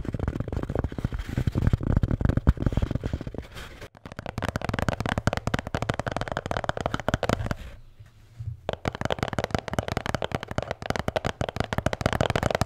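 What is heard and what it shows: A blue Bintang beer can holder is tapped and scratched in a dense stream of quick, dull, low-heavy taps and rustling scratches. The activity continues with a short lull near the 4 second mark and a brief quiet pause around 8 seconds.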